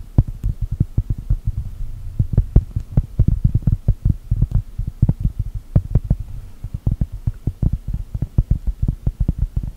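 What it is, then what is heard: Cork coaster. Long gel nails tap and scratch a large, thin, solid round cork coaster printed to look like a cookie. The result is a rapid, uneven stream of soft, dull, low thuds that stop almost instantly, with a faint low hum underneath.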